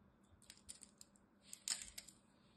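A small black-handled blade scrapes and chips pieces from the edge and face of a solid, palm-sized green bar of soap held in the fingers. Quick, crisp, bright clicks and scrapes come in an irregular run of about ten short hits, with the loudest cluster near the end.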